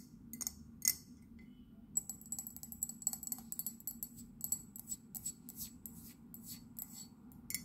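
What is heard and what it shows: Long nails tap quickly on the body and base of an empty white ceramic mug with a blue handle and a London print. The taps are sharp, bright clicks that die away almost at once, coming in an uneven run over a low, steady hum.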